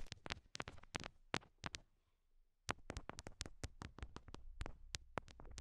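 Long glossy nails tap the pink rhinestones on small solid heart-shaped stickers attached to the translucent silicone ear pieces of a binaural mic. Quick, dry clicking taps come in clusters with a brief quiet pause in the middle, each tap sharp and bright with a soft low thump underneath.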